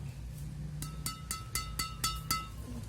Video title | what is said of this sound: Senar Raket Badminton Yonex BG 66 ULTIMAX VS EXBOLT 63, ini bedanya!!! Kalian pilih mana??? | suaranya sama-sama nyaring lenting tapi sebenarnya lebih panjang sedikit